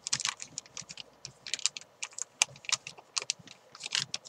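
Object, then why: Thin plastic bag wrapped around a chalk ball. A hand-sized white chalk ball wrapped in a thin clear plastic bag is crinkled and scratched by long nails and fingertips. The result is a quick run of sharp, bright crinkling and ticking sounds with almost no low end. Each tick dies away almost instantly.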